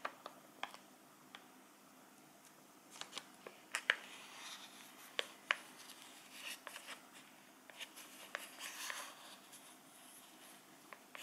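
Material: Plastic.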